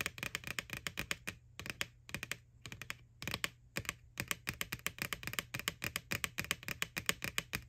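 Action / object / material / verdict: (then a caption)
tap / plastic candy bucket / plastic / none. Long nails tap rapidly on the side wall of a small, hollow, white plastic ghost Halloween candy bucket from McDonald's, lying on its side, right over the printed face. Dozens of short, dry, bright clicks come in quick bursts separated by brief pauses, with a hollow plastic tone around 2 kHz and very little low end.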